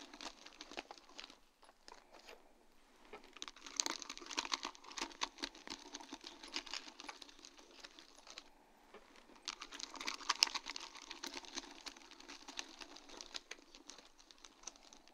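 Long dark-painted nails tap and scratch across a flat sheet of large round faceted acrylic rhinestones set on a grey plastic mesh backing, lying on a wooden board. Dense, quick, bright clicks and crinkly scraping run throughout, with brief quieter pauses near 1.5 s and 9 s. There is almost no low end.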